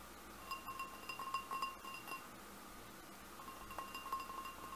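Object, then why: Glass goblet. Fingernails tap the bowl of a large, hollow, empty red crackle-glass goblet, giving quiet, irregular clinks. Each tap rings briefly at a clear pitch near 1 kHz, with bright overtones above.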